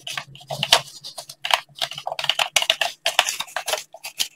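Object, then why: Plastic game controller. Fingertips in blue latex gloves tap and click the buttons and hollow shell of a hand-sized black plastic gamepad held in both hands close to the microphone. A quick, irregular run of crisp, bright plastic clicks and taps follows, each dying away almost instantly with little low end.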